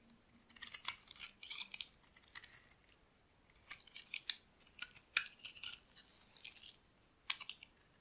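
A solid pink oval bar of dry soap, held in the palm, is shaved with a metal utility blade so soap flakes peel off. The result is a quiet run of crisp, dry scraping and crackling bursts, bright and hissy with almost no low end, separated by short pauses.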